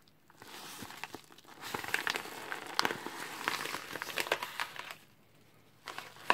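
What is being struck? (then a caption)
Padded paper mailer envelope. Gloved hands hold up a white padded paper mailer envelope, crumpling, rubbing and tearing its paper and bubble-lined layers. Dense, bright crinkling and crackling with sharp snaps runs through most of the clip, easing to near quiet before a final burst of rustling.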